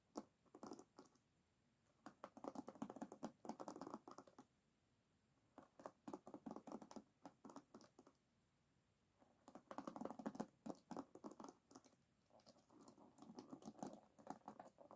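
Long nails rake and flick across the wooden pins of an oval wooden hairbrush set in a black rubber cushion. The result is bursts of quick, dry clicking and scratchy ticking, mostly in the low-mid range, separated by short quiet gaps.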